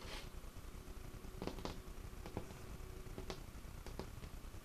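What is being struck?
Wooden tabletop.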